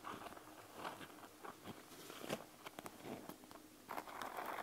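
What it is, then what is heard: Plastic gel bead eye mask. A panda gel bead eye mask with a clear plastic shell and gel beads lies flat on a wooden table while long nails scratch quickly over its surface. Soft, crackling plastic scrapes come in short bursts with brief sharper ticks, ending in a denser run of bright scratching.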